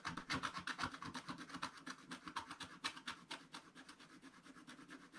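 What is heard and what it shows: A wooden stylus scratches at the lower right of a black-coated scratch-art card page in a spiral book. It makes quick, uneven back-and-forth strokes that sound dry, raspy and bright. The strokes are strongest at first, then settle into lighter, softer scratching toward the end.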